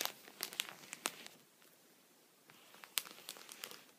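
A wooden pencil tip taps and scratches a thin, clear punched plastic sheet protector lying on a towel while a hand holds the pocket flat. Sharp, bright crinkly clicks and scratches come in bursts, pause briefly near the middle, then resume. The sound is crisp and dry, with almost no low end or ring.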